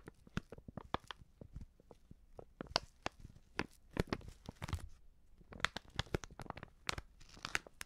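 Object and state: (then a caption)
Plastic seasoning pouch being crinkled. Long nails scratch and crinkle a filled, medium-sized white Prix Garantie plastic seasoning bag. The result is a quiet, steady run of sharp, dry crackles and scratchy rustles that reach into bright highs, with a soft low thump under some of the louder crinkles.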